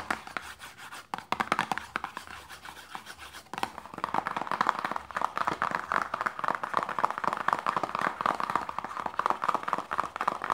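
Long fingernails tap quickly on the top and sides of a small, closed, hollow printed paperboard lotion box lying on pink fabric. The result is a rapid stream of dry, short clicks centred around 1 kHz, with little ring and almost no low end. The tapping is softer for the first few seconds, then becomes louder and denser.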